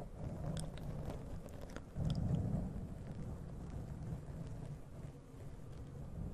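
Long nails scratch and rub the black foam windscreen on a large condenser USB microphone. The result is a dense, muffled, low rumbling rustle with faint brighter ticks, swelling louder for a moment partway through before settling back to a steady scratching texture.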